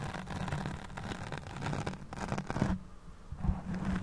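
Long fingernails scratch a black foam windscreen on a hand-held microphone, producing a dense, rumbling scrape heavy in low frequencies with faint bright hiss. The scratching briefly quiets near the three-second mark, then picks up again.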